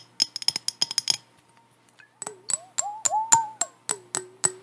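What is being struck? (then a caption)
Glass jar with metal lid. Long acrylic nails tap and scratch a hand-sized, apparently empty clear glass mason jar with a metal lid while it is held and tilted. A quick run of sharp, bright clicks with a faint high ring comes first, then after a brief pause more taps join gliding, squeaky tones that rise and fall in pitch as the nails scrape across the glass.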